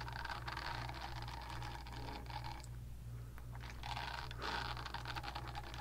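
Long nails scratch and tap the smooth back of a pink, palm-sized silicone facial cleansing brush held close to the mic. The result is a steady, dense scratchy rustle with soft clicking taps over a constant low hum, briefly quieting near the middle before the scratching picks up again.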